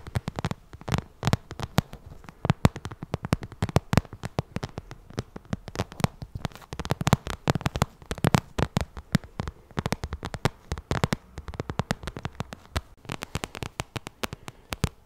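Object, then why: Glossy vinyl cosmetic pouch. Long nails tap and scratch across the face of a glossy pink shiny vinyl cosmetic bag. Rapid, irregular dry clicks and soft scratches sit low and muffled, with each tap dying away almost instantly.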